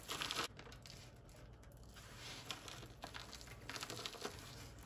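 Fingertips and palms press, crush and rub a heart-shaped pile of crumbled, dry, white-ivory bar soap flakes on a wooden surface, then spread the pile flat by hand. Bright, crisp crinkling and crunching sounds come in a loud burst at the start, then continue as softer scattered crackles over a low steady hum.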